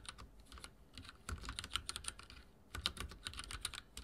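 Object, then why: Mechanical keyboard with plastic keycaps. Fingertips type on a backlit mechanical keyboard with dark plastic keycaps, tapping the keys in quick, uneven bursts. Each keystroke is a short, bright click with a soft low thump beneath it, dying away almost instantly. A brief lull in the middle separates two flurries of typing.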